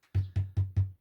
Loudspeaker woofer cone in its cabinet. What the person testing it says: it's got a kind of hollow sound to it when you tap on the cone